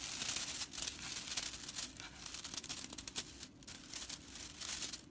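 Long purple nails and fingertips scratch and rake the dry straw bristles of a broomcorn straw whisk broom resting on a wooden table. The result is a bright, crisp crackling and rustling that swells and dips in quick bursts, with almost no low end.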